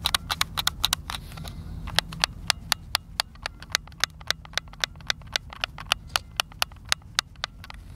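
A white, hollow, hand-sized plastic Xbox controller is held in both hands outdoors while thumbs and fingertips rapidly press and click its buttons. About 33 sharp, bright plastic clicks sound in a quick, uneven series, each dying away almost instantly over a faint low background rumble.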